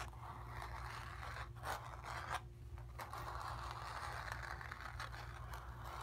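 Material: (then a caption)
Cotton canvas. Long pink nails scratch across the painted area of a stretched, hollow cotton canvas. A steady, dry rasping fills the midrange over a low hum, with a few brief, louder strokes standing out early on.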